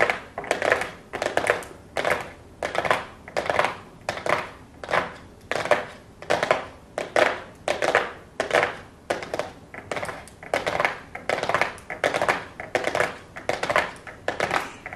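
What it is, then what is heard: Hollow cardboard box tapped with nails. Long blue acrylic nails tap and scratch a small, flat, hollow cardboard makeup box covered in gold foil. Quick bursts of crisp, papery clicking and scraping repeat steadily throughout, each burst fading fast with a thin, hollow midrange body and bright edges.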